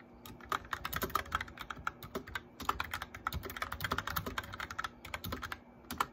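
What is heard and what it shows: Both hands type steadily on a white plastic mechanical keyboard, fingertips tapping the keycaps while copying out a short story. The result is a dense run of quick, dry clicks with a clacky tone centered around 1.2 kHz and bright edges, each keystroke dying away almost instantly.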